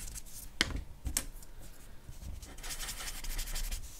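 A charcoal pencil draws fine scratching strokes on a flat white drawing paper sheet near the lips of a portrait. Quiet, dry, bright scratching and rubbing runs throughout, with a couple of sharper ticks early on and a denser, brighter stretch of strokes toward the end.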